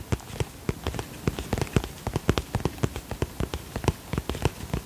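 Fingertips tap quickly on the shiny plastic of a holographic vinyl cosmetic pouch held in the hands. The rapid, uneven taps land as short, soft, low thuds with a brief crisp edge that dies away almost instantly, over a faint steady hiss.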